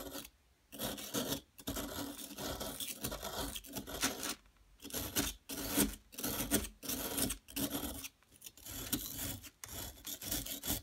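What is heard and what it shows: A solid yellow plaster excavation block is scraped at one end with a metal tool, giving a dry, gritty rasping. The scrapes come in bursts of bright, broadband noise with a faint low tone near 200 Hz, separated by short silent pauses.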